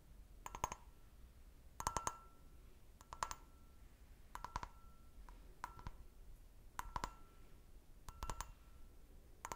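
Fingernails tap the bowl of an empty, medium-sized, clear stemmed glass brandy snifter in about eight quick bursts of sharp clicks, spaced roughly a second apart. Each burst leaves a faint, brief glassy ring around 1 kHz before fading into quiet low background noise.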